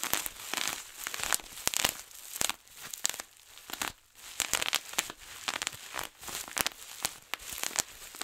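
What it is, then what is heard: Bubble wrap being popped. Large clear plastic bubble wrap, rolled into a tube, is squeezed and twisted with both hands, setting off rapid bursts of many popping bubbles. The sharp, bright pops come in quick clusters over a steady crinkling of plastic, with almost no low end and no ring after each snap.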